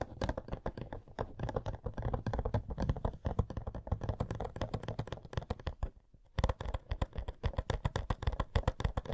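A hollow cardboard Coca-Cola Funko Pop box with a figure inside is tapped on its sides with long nails. Rapid, dense clicking taps carry a low hollow thump, pause briefly near six seconds, then resume.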